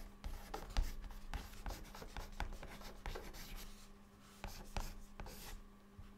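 A white chalk stick held in the fingertips writes words on a flat, dark, solid chalkboard surface. Soft, dry scratching strokes and light taps come in quick bursts, with a faint steady low hum underneath.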